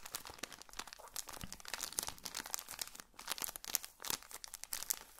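A small colorful pocket tissue packet in a thin plastic wrapper is held close and squeezed and crinkled with fingertips. The result is a dense run of quick, bright plastic crackles with very little low end and almost no ring after each snap, rising and falling in bursts over the whole clip.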